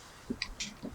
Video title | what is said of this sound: Pepplish Provisions - Peach Agave Garlic & Apple Cilantro Lime Review - Chillin' With Chilli Sid | you can hear that it's not too thick